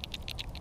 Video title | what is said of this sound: How to Fish Lipless Crankbaits - Bass Fishing (Surprising Outcome) | when I shake it you hear one clack